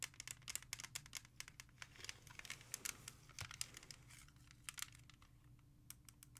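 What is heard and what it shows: A music CD in a clear plastic jewel case is held and turned from front to back while long nails tap and scratch it. The result is a quick run of sharp, bright plastic clicks with scratchy rasping between them, each tap dying away almost instantly.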